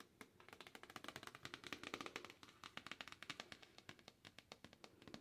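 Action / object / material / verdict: tap / cardboard box / cardboard / none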